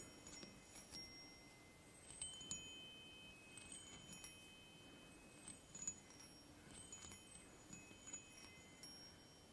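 Fingertips and long painted nails tap and stroke across the hollow silver metal tubes of a small desktop chime mounted on a wooden block. Quiet, scattered strikes set off bright, bell-like tones that hang and overlap in a shimmering wash. Soft noise fills the gaps between strikes.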